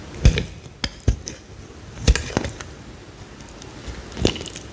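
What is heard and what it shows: A utility knife blade cuts into a small, solid, slightly wet green bar of soap, peeling slices off. Several crisp, short cutting strokes land a second or two apart, each with a soft, dull low thump and a brief bright scrape that fades quickly.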